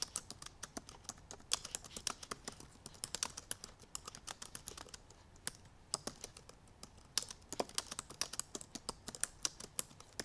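Long purple nails type rapidly on the black plastic keys of a silver aluminum MacBook Pro laptop keyboard. A quick, uneven stream of sharp, bright clicks and taps is heard, each dying away almost instantly, with very little low end beneath them.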